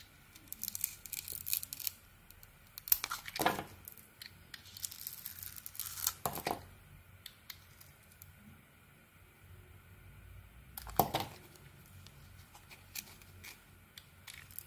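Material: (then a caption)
Soap. A metal knife blade shaves and carves a solid white soap bar with a pink glitter coating and embossed letters. Dry, crisp scraping and crumbly shaving sounds come in short, bright bursts, with stronger strokes near 3.5, 6.3 and 11 seconds. Quiet pauses fall between the bursts over a faint steady background tone.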